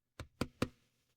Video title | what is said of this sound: XIAOMI Leica Leitzphone 언박싱 | 여기서 이런 플라스틱 소리가 확실히 들려.